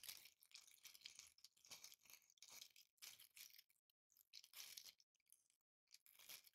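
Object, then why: Glitter-covered Christmas ball ornament. A hand-sized green Christmas ball ornament covered in coarse glitter or tinsel flakes is held and scratched with long painted nails. The result is bursts of bright, crackly, high-pitched scratching separated by brief silent pauses.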